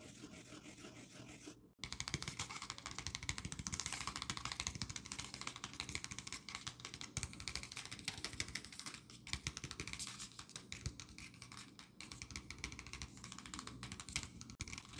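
A solid hardcover copy of "Atomic Habits" with a paper dust jacket is held and rapidly tapped on its cover and spine with fingertips and nails. After nearly two seconds of faint, quiet tapping, a sudden burst starts a dense, continuous run of quick taps. Each tap is a bright, crisp click over a dull low thud, dying away almost instantly, and the pace holds steady to the end.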